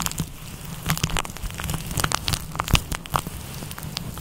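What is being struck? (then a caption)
Synthetic fur microphone windscreen. Fingertips rub and scratch a fluffy grey-white synthetic fur windscreen over a microphone with a kneading motion. This produces a dense, crackling rustle of scattered bright, sharp ticks over a steady low rumble, much like rain or crackling fire.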